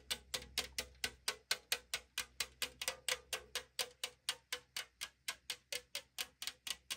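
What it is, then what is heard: Aluminum drink can tapped with fingernails. Long nails tap and scratch the side wall of a tall 500 ml aluminum drink can held on a table, its hollow thin metal giving a bright, crisp response. About 31 quick, sharp clicks follow one another in a fairly steady rhythm, each dying away almost instantly.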